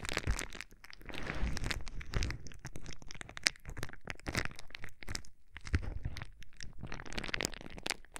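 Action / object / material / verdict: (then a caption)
scrape / plastic bubble wrap / plastic / none. A sheet of clear plastic bubble wrap is held against the microphone's ear while fingertips and nails squeeze and pop its air bubbles. Dense crinkling and sharp crackling pops are heard, with brief bright snaps and low, muffled thumps from the handling close to the microphone.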